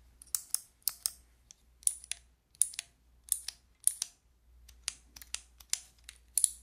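Long nails click the white keycaps of a handheld fidget toy with a clear plastic frame, held flat. The result is an irregular run of sharp, bright plastic clicks, often in quick pairs, each stopping dead, over a faint low hum.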